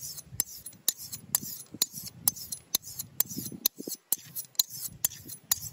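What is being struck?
Steel razor blade on a sharpening stone.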